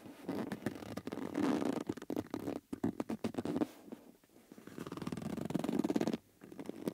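Fingers rub, press and squeeze the outer surface of a yellow rubber bellows with metal rims, wrinkling and stretching the rubber. The result is a stretch of dense, low-mid squeaky rubbing broken by quick creaks and pops, with quieter pauses between the louder passages.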